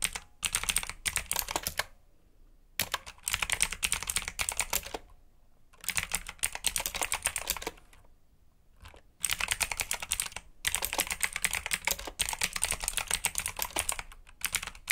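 Fingertips type on a black mechanical keyboard with plastic keycaps and clicky switches. Rapid, bright clicking comes in bursts of typing, separated by short quiet pauses. Each keystroke is sharp and dies away almost instantly.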